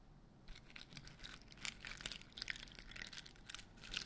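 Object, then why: Glitter-coated foam Christmas bauble. A large white glittery foam Christmas bauble with grey stars hangs by its string from one hand while the other hand's fingertips and nails scratch and tap its rough, glitter-coated surface. The result is a quiet, dry, bright crackling and scratching, broken by short, crisp taps that stop almost at once.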